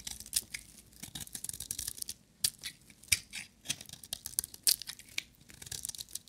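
A metal utility knife blade shaves curled shavings from a dry, solid, hand-sized yellow bar of soap. Quiet, bright, crisp scraping and crackling strokes come in quick irregular bursts, each one dry and short with almost no low end.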